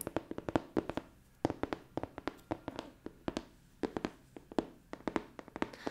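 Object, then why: Cardboard game box. Long dark-painted fingernails tap rapidly across the lid of a large, flat, hollow printed cardboard board game box (Escape the Dark Castle) held upright in one hand. The short, dry, hollow taps come in irregular bursts with brief pauses. Each tap has a mid-pitched knock and dies away almost instantly.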